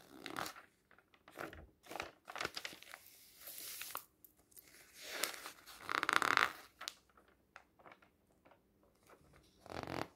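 A printed paper magazine lies open on a table while a flat hand rubs across a page, then the fingertips lift and turn the pages. The sound is a series of dry, bright paper rustles and crisp crinkles with short swishing bursts, one louder crackle near the middle, and quiet gaps between.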